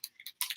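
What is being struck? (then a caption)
Plastic spray bottle with agitator ball. A plastic bottle of Redken Fashion Waves sea salt texturizing spray is shaken to activate it, so the agitator ball inside clicks against the walls. Four short, bright clicks are heard, the last one louder and longer. The clicks are dry, with little ring.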